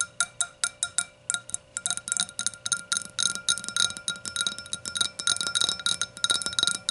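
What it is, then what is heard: Glass hurricane glass. Long nails tap the thin walls of the curved hollow bowl of an empty clear hurricane glass standing upside down on a towel. A quick, uneven series of bright glassy clinks rings near 3.8 kHz, spacing out at first and then crowding together. Each tap dies away almost at once.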